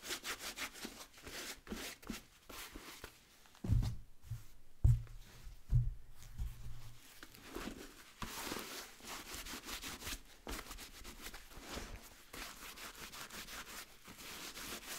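A hollow, empty wheat-colored nubuck leather boot with a rubber sole is rubbed by hand with a blue microfiber cloth over its sole and nubuck upper. Quick, uneven strokes give a soft, bright, brushy scrubbing with a low rumble. A few heavier thumps stand out partway through.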